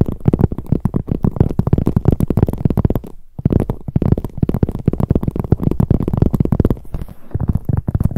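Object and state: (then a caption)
Leather handbag tapped with long nails. Long acrylic nails and fingertips rapidly tap and press on the front of a medium, hollow, black glossy leather handbag with handles. The result is a fast, dense stream of soft, low, muffled thuds with almost no ring, pausing briefly just past three seconds before continuing.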